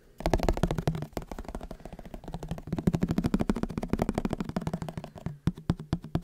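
Fingertips tap and scratch on the lid of a white plastic margarine tub with a green label, held in one hand. A rapid, irregular stream of short, dull, hollow plastic taps with a low resonant tone and little high end. A soft scratching texture runs underneath, and each tap dies away almost instantly.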